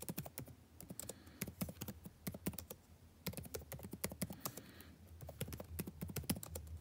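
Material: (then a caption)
Plastic. Fingertips type continuously on the blue-backlit plastic keycaps of a dark laptop keyboard. The result is a rapid, uneven stream of short, dry key taps with a soft, low thunk beneath brighter clicks, each dying away almost at once over a faint background hiss.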